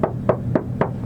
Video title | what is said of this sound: 12W7 VS 10W7 // Subwoofer Review | knocking on the side of this car like this you know that sounds fully Hollow